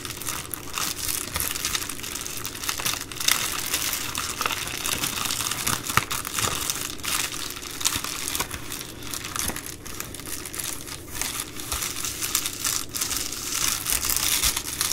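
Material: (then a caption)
Plastic. An empty Amazon Prime poly bubble mailer is scratched and tapped with long nails on its bubble plastic. The result is a steady, bright crinkling hiss dense with tiny crackles, with many small sharp taps along the way. No speech is heard.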